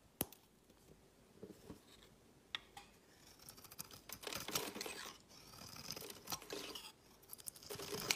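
A solid green bar of soap is picked up from a woven mat and shaved with a utility knife into green curls, while a second green bar lies still nearby. A few sharp clicks open the clip, then come bursts of bright, crisp scraping and shaving that grow denser and louder toward the end.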